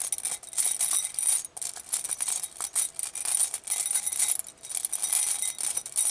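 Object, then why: Glass bowl holding small glass vials and beads. A clear glass bowl full of small glass glitter vials and beads is held in a hand with long nails and shaken and turned, so the contents clink against the glass. A dense, bright rattle of tiny glassy clinks comes in uneven waves with brief pauses, with almost nothing in the low end.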